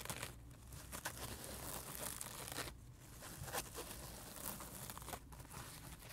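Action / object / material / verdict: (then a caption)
scrape / sponge scrub pad / sponge / none. Fingertips and nails scratch and tap the white textured scrub side of a dry heart-shaped sponge lying flat on carpet. The result is a steady, quiet dry rasping and crinkling, broken by brief brighter scratchy bursts and soft taps.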